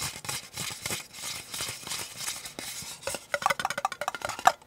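Painted fingernails scratch and tap the ribbed sides and base of a small, empty, hollow disposable white plastic cup held upright in both hands. About three seconds of soft, dry scratching and rustling give way to a quick run of about 13 sharp, bright taps with a hollow plastic tick near 760 Hz that dies away almost instantly.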